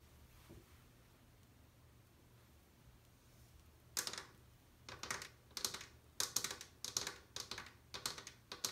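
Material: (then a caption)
Glazed ceramic. Long painted nails tap and drum across the inner rim and bowl of an empty white glazed ceramic washbasin, solid and built in. After about four seconds of near silence, irregular clusters of sharp, bright clicking taps begin, each dying away almost instantly with little low-end body.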